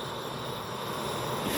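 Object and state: Nothing is struck.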